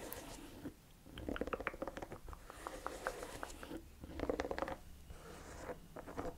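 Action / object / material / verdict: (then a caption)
tap / rubber lug boot sole / rubber / none. Long nails tap and scratch the treads of the chunky, hollow-cleated beige rubber lug sole on a cognac suede ankle boot. Quiet bursts of quick, hollow clicks around 500 Hz mix with soft scratchy rasps, separated by brief near-silent pauses. Each tap dies away almost instantly.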